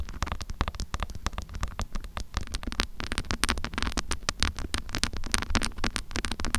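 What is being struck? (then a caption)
Small metal microphone with mesh grille. Long acrylic nails rapidly tap and scratch the mesh grille and body of a small handheld metal mini microphone. Quick, sharp clicks and bright scratchy bursts sit over a steady low, boomy rumble.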